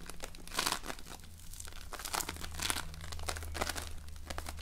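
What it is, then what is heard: Floam (foam-bead slime). A small, soft but solid lump of floam, slime packed with polystyrene foam beads, is squeezed and shaped between fingers. It gives dense, bright crinkling and crackling bursts that swell and fade over a steady low hum.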